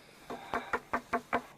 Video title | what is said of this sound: DOCUMENTÁRIO DA DESCOBERTA DA ARCA DE NOÉ! (COMPLETO) | it's wooden it's not a rock